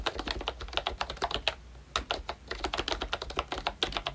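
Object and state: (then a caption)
Plastic membrane keyboard. Both hands type with their fingertips on a pink plastic ROYCHE Disney Mickey Mouse retro membrane keyboard with round black keycaps. About 29 quick, bright plastic clicks with very short decay are heard, with a brief pause near the middle.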